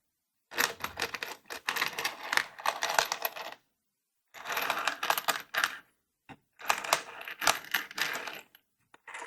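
The first compartment of a found plastic toolbox, holding an assortment of metal screws (mostly Torx, some of them wood screws), is shaken in three bursts. The shaking gives a loud, bright metallic jingling rattle of many small parts, with short pauses between bursts.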